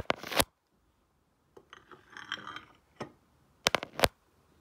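A stone face roller is rolled by hand over a solid, glossy painted ceramic tile lying flat. Short bursts of bright, gritty rolling and scraping are broken by silent gaps, with a cluster of sharp clicks near the end.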